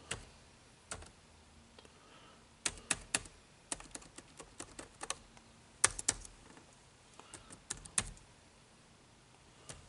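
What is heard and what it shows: Fingertips type on the dark plastic keys of an HP laptop keyboard, producing irregular bursts of short, dry, bright clicks with quiet pauses between them. Each keystroke stops almost instantly, with little low-end weight.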